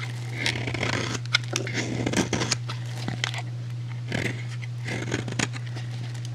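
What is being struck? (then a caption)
Bar of soap cut with a blade. A metal utility blade shaves flakes off the edge of a solid, rectangular, hand-sized purple soap bar with an embossed logo. Crisp, bright scraping and crackling cuts come in irregular bursts over a steady low hum.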